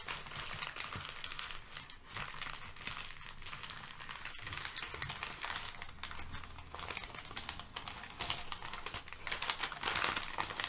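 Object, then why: Brown kraft packing paper. Thin brown kraft packing paper lying on a rug is pressed flat with fingertips, then lifted and crinkled. A dense, irregular stream of bright, dry crackles and rustles continues throughout, with a faint low rumble underneath. The crinkling grows louder and brighter toward the end.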